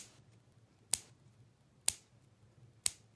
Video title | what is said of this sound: Mercury Dime - Coin Ping Test | obviously fake you can hear it makes a thud sound